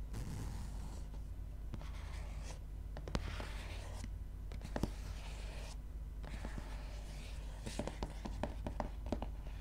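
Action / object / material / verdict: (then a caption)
scrape / paper softcover book cover / paper / none. Long nails scratch and tap across the paper cover of a gray softcover book. Soft, papery scratching strokes are broken by sharp, brief taps, all over a steady low hum.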